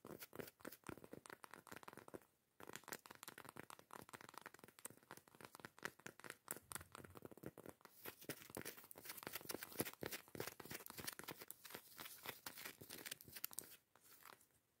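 Long acrylic nails scratch and tap the grainy surface of a round, flat, solid cork disc that serves as a jar lid, held up on its own. Dense, rapid crackly scratching and quick dry taps fill the clip, with brief pauses near the start and end.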